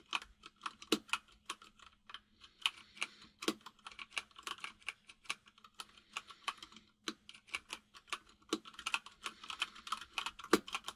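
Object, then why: Plastic mechanical keyboard keys. Fingertips of both hands type steadily on a full-size mechanical keyboard with white and grey plastic keycaps. The recording is quiet, with a stream of short, bright, clacky keystrokes, a few louder strikes, brief pauses, and a faint steady low hum underneath.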